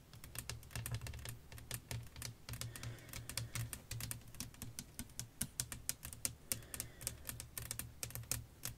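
Long acrylic nails tap and scratch across a solid, thin, flat sheet of clear glass lying over black lace fabric with fairy lights underneath. Dozens of quick, bright, clicking taps with very short ring follow one another in an irregular, typing-like rhythm over a steady low hum.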